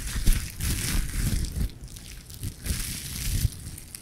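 A soft, hollow, light green plastic nylon mesh bath puff is held in the hands close to the recorder and squeezed and rubbed with the fingers. It gives a dense, bright crinkling in uneven waves, over heavy low rumbling thumps from the handling.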